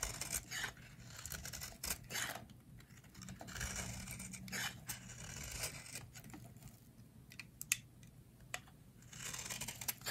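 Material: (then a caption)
Soap. A metal utility blade carves flakes off the edge of a solid, hand-sized, rectangular bar of dry yellow soap held in the hands. The result is a run of crisp, bright scraping and shaving strokes with short, sharp cuts, over a faint, steady low hum.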